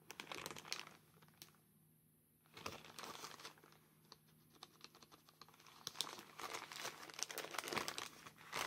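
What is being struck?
Soft plastic postal mailer bag.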